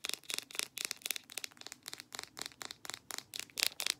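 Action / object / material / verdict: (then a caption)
tap / small plastic jar with lid / plastic / none. Long black nails rapidly tap and scratch a small white plastic jar of petroleum jelly with a blue label and lid, presumably full. The clip is a fast, continuous run of short, dry clicking and scratching bursts with no low end, energy sitting almost entirely in the bright high range and a faint tonal edge near 2.5 kHz. Each tap dies away almost instantly, leaving a crisp, crinkly texture throughout.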